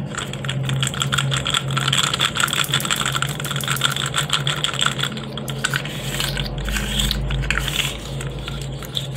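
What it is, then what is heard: Plastic articulated fidget toy. A blue and white segmented hard plastic fidget slug, hand-sized with hollow joints, is bent and twisted by bare fingers. Its segments click and rattle against each other in a dense, steady stream of short, bright clicks. A low hum sits underneath and swells slightly toward the end.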